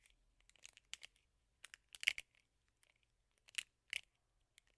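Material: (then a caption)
Plastic. Fingernails scratch and tap along the rubber bristle pad of a teal and black plastic hairbrush held in the palm. Quiet, dry, crackly scratches and clicks come in short clustered bursts, bright and centred around 2 kHz with no low end. Each burst stops instantly, with no ring.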